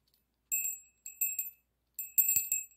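A small hollow brass bell with an internal clapper, held by a yellow pipe cleaner, is swung and shaken by hand while another bell stays still on the table. The clapper rings it in three bursts of bright, high, tinkling chimes with short ringing decays.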